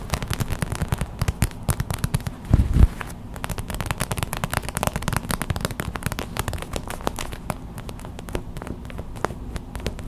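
Long white acrylic nails tap fast on a small clear plastic pouch of white gel beads, a hot/cold pack lying on a towel. The result is a steady stream of quick, dry clicks and crackles with a soft, low body, and a brief louder flurry a few seconds in.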